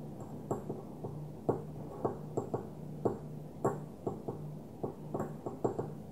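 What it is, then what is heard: Glass perfume bottle. A small, opaque white glass perfume bottle lying on its side is tapped with the long nails of one hand, giving a series of short, dry clicks with a faint high ping. Each tap dies away almost at once, and a steady low hum runs underneath.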